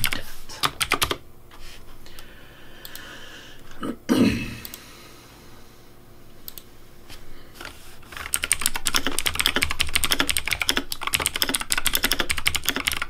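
Fingertips type rapidly on the left-side keys of a pink plastic Razer Deathadder V3 Pink mechanical keyboard. Sparse, scattered key clicks and a brief louder swell at first give way to a dense, fast run of sharp, bright clacks in the second half.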